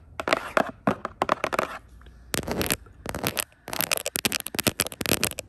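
Long pointed acrylic nails rapidly tap and scratch the glossy printed surface of a flat "Speak Out" cardboard cover, likely the lid of a game box or a book, held close. Crisp, dry, bright clicks and scratchy rasps come in quick, irregular bursts with short quiet gaps and almost no ring.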